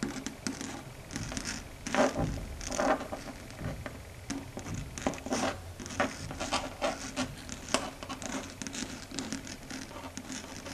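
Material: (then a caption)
Chalkboard. Long red stiletto nails tap and rub, scratching across a flat, solid, dark grey chalkboard surface. Quiet, irregular clicking taps mix with dry, scratchy strokes that carry a bright hiss. The sharpest taps stand out near 2, 3 and 7.7 seconds.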